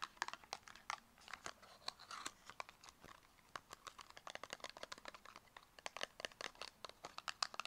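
Long acrylic nails tap quickly on the faces of a small, closed, purple square cardboard cosmetic box. The result is a quiet, rapid stream of dry, bright clicks and light crinkly taps with almost no low end and no ring after each hit.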